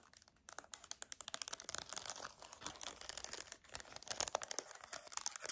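Long dark nails rapidly tap and click the rubber buttons of a hand-sized silver plastic TV remote held up close. The result is a dense stream of short, dry, bright clicks with almost no low end, each dying away instantly, falling briefly quiet before building into faster, louder bursts.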